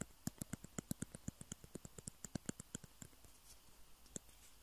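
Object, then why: Plastic table tennis balls. Fingernails tap two small hollow white plastic table tennis balls with printed logos, one held in each hand. About 25 quick, dry clicks come in an uneven rhythm, each with a hollow low knock and a bright top that dies almost at once. The taps bunch together early and thin out toward the end.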